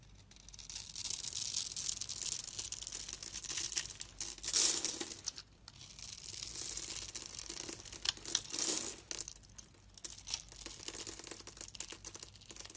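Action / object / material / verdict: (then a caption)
scrape / soap bar scraped with a metal blade / soap / none. A metal utility-knife blade scores a grid into a solid, hand-sized pink bar of soap held in the hand, then scrapes and carves it so small soap cubes flake off. The sound is a dry, bright, crackling scrape that swells and fades in several long passes, with almost no low end.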